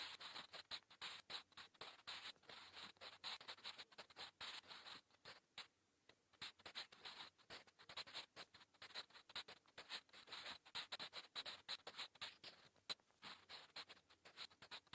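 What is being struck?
Graphite pencil on a paper notebook page.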